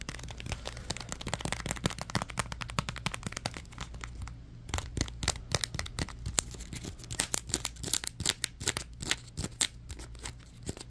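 A crumpled ball of thin orange plastic bag is squeezed and crinkled with the fingers, making dense, bright crackling made of many sharp, quick snaps. After a brief quieter moment near the middle, the crinkling returns louder with sharper pops toward the end, over a steady low hum.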